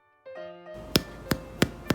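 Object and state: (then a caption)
Baked bread loaf, hollow (done). An oat, honey and maple syrup bread loaf, baked at 350 degrees, is tapped four times, giving short, dull, hollow thumps over soft background music. The hollow sound shows the loaf is baked through and done.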